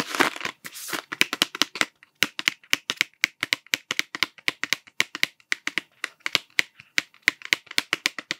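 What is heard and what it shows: Fingertips tap a cardboard Smarties tube with a blue plastic cap, striking both its body and the cap. After a brief crinkly rustle at the start, a rapid series of dry, bright, hollow clicks centered around 2 kHz follows, each dying away almost instantly.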